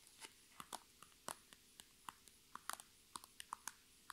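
Long red nails tap and scratch the thin sides and top of an iridescent, holographic transparent PVC cosmetic bag full of makeup items. About seventeen short, dry, crisp clicks and light scrapes sound against a quiet background, each with a bright plastic tick and almost no ring.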